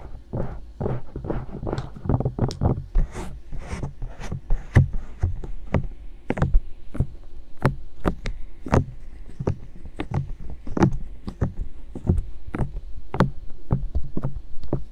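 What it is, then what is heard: Silicone microphone ears being tapped. Fingertips with long dark nails grip and gently tap, poke and rub the hollow white silicone ears of a binaural microphone. The result is a steady stream of short, muffled, deep thumps, with faint bright clicks from the nails over a low, steady hum.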